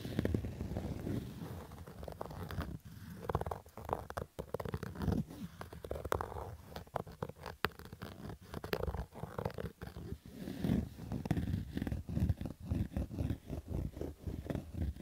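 A black Adidas fabric baseball cap is scratched with fingertips and nails along its stitched brim. The sound is a steady run of low, rough, muffled scratching strokes with brief crackly bursts, mostly dull low-end rasp with little brightness.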